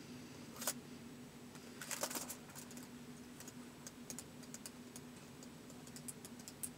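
Fingertips type slowly on the keys of a white plastic laptop keyboard, with the hand near the front edge at the start. Soft, bright clicks come at an irregular, unhurried pace, with a couple of louder taps early on, all over a faint, steady low hum.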